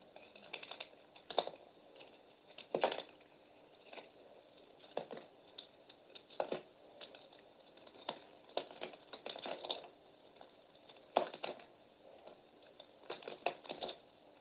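A metal utility knife blade shaves and scrapes the surface of a solid peach bar of soap with a green outer coating, held in the hand. Quiet, crisp scraping strokes come in irregular bursts over a soft, steady hiss, with short dry crackles and no low-end weight.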